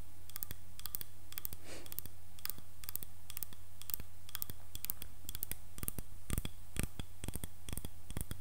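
Fingernails scratch and tap the handle of a solid, light wooden hairbrush, then move toward the head of the brush, possibly touching the bristle side at the end. Many sharp, bright clicks and short scratches sound over a steady low hum, growing slightly louder and denser near the end.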